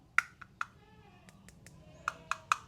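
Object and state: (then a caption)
Hollow-sounding thin metal flashlight body. A flat EDC flashlight with a thin, fairly light metal body is knocked on its body, giving six short, sharp taps with a bright ring around 1.4 kHz. The body sounds somewhat hollow. The light has a magnet on the bottom, a battery indicator, two LEDs with TIR lenses and USB-C charging.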